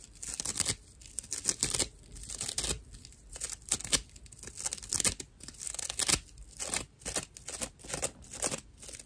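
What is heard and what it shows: A dry, hand-sized natural loofah pad of fibrous plant material is held in both hands and scratched with fingernails. The result is rough, bright, crackling scratches in uneven bursts with short pauses between them, mostly high in tone with little low end.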